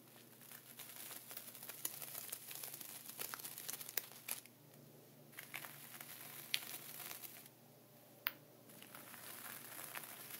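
A thin dark wooden pointer traces and scratches diagonal lines through a flat layer of sea salt inside a clear plastic ziploc bag. The result is a soft, bright crinkling and gritty scratching with occasional sharp ticks. Two brief quieter gaps break it up partway through.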